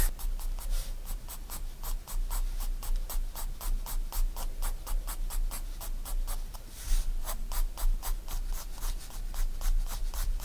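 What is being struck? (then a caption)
Graphite pencil on a paper sketchbook page. A 4B pencil rubs back and forth on a white paper sketchbook page lying flat, making hatching and shading strokes. Quick, loosely regular scratchy strokes come as bright, dry bursts of hiss, about four per second, over a steady low hum.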